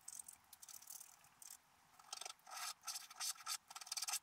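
A wooden stylus scratches branch lines into a black-coated scratch-art paper card held flat. Short, irregular bursts of dry, bright rasping scratches come and go with brief pauses, thin and high with no low end.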